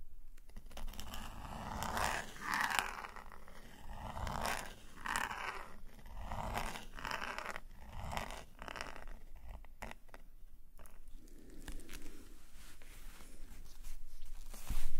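A metal nib pen scratches a series of strokes across a page of an open black paper sketchbook lying flat, giving soft, dry scraping sounds with brief pauses between strokes. Toward the end the strokes thin out, and the pen is lifted from the paper.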